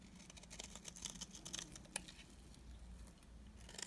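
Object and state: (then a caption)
Bar of soap shaved with a blade. A solid, dry beige bar of soap has its edges and face shaved with a utility knife blade. The result is a quiet series of short, crisp scraping and crackling ticks, bright and papery, over a low hum, with a few sharper clicks near the end.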